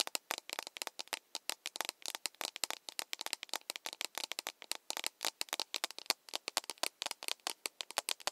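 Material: Plastic.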